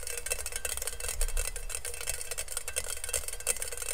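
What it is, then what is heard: Stainless steel colander. Fingertips and nails tap and scratch rapidly on the perforated base of a hollow, empty stainless steel colander held close to the mic. The result is a dense, continuous stream of bright, tinny clicks and scrapes with a short metallic ring, over a low rumble.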